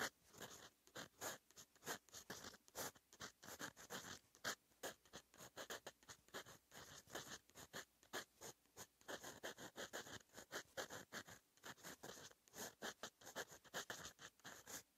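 A metal fountain pen nib, held in fingers, scratches across a flat sheet of lined writing paper in handwriting strokes. Dense, quick, dry scratching bursts follow one another steadily, bright and high with little low end. Short pauses between strokes break up the run.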